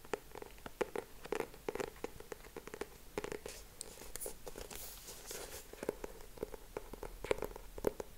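Fingertips and short nails tap and scratch the purple cardboard cover of a closed, medium-sized hardcover notebook with a yellow frame design, held in both hands. Quiet, rapid, dry taps with a faint hollow resonance are broken up around the middle by softer, bright, hissy scratching strokes.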